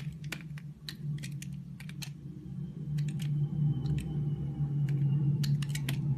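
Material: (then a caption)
Glycerin soap. A green utility knife blade scrapes and shaves thin layers off a solid, hand-sized, translucent lime-green glycerin soap bar held in the palm. Quick, crisp, bright scraping strokes come in an uneven rhythm over a steady low hum.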